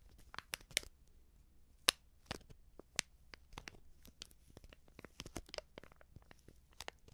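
Long nails tap and scratch a small Backpulver baking powder sachet made of coated paper and filled with powder. Sharp, bright crinkling clicks and brief scratchy rustles come at an uneven pace, with a few louder taps standing out against a quiet, dry background.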